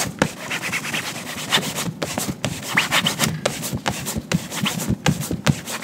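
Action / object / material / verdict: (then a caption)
scrape / leather ankle boot rubbed with a cotton cloth / leather / none. A gloved hand pulls a yellow cotton shine cloth taut and buffs the toe of a tan leather ankle boot held in a shoe-shine stand, working it back and forth in rapid strokes. The result is a steady, dry rubbing and swishing with many quick strokes, each carrying a low body and a bright, hissy edge.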